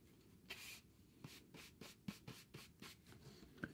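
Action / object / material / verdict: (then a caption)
scrape / thin cardboard sheet / cardboard / none. A wide bristle paintbrush is brushed across a thin, solid, rectangular grey cardboard sheet held in hand. About nine quiet, dry swishing strokes sound at an uneven pace, each a soft, bright, airy rasp with no ring.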